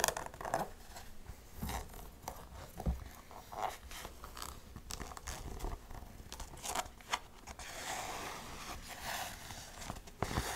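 Long nails scratch and tap the canvas upper and white rubber toe of an empty black canvas Converse-style high-top sneaker with metal eyelets and laces. Soft, dry scratching rasps run throughout, punctuated by sharper, quick-decaying taps and clicks at a quiet level.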